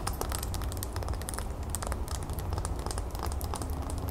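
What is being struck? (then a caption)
Wax pillar candle. Long nails of both hands scratch and tap on a tall, solid cream wax pillar candle with a raised gold lace pattern, standing on a gold base. The result is a dense, steady stream of fast, bright clicks and crinkly scratching over a constant low rumble.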